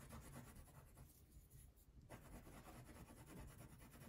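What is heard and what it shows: A purple wax crayon rubs in steady strokes across a thin paper coloring sheet lying on a table. The scratchy, low-heavy rasp briefly softens near the middle, then resumes at full strength until the end.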